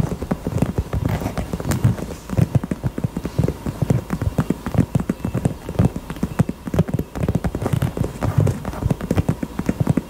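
A pink heart-shaped purse is tapped rapidly with the fingers. The result is a steady stream of soft, dull, low thuds with almost no ring, much like muffled hoofbeats.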